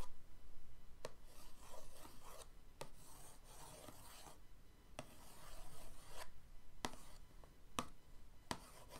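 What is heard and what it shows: The end of an orange paintbrush is dragged back and forth across the lid of a flat, printed cardboard paint-set box, making soft, bright scratching and rubbing strokes in bursts. A few sharp, short ticks cut through between the strokes.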